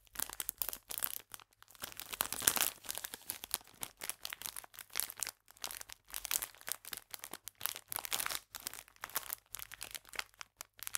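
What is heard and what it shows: A full clear plastic biscuit bag is crinkled with fingers and nails and turned from upright to flat. Bright, crackly plastic crinkling comes in dense bursts with short gaps, peaking around the two-and-a-half-second mark.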